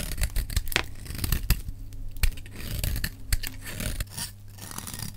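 A solid, dry green bar soap held in the hand is scraped and shaved with a metal utility knife blade. Quick, crisp scraping strokes with bright, gritty shaving noise sit over a low hum, some strokes sharper and louder than others.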